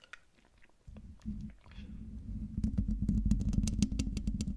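Long dark nails tap and scratch a hollow, domed metal mesh microphone grille. Quiet, scattered scratching gives way to a steady low hum that grows louder, then a rapid run of sharp taps with bright clicking edges over a thick low rumble.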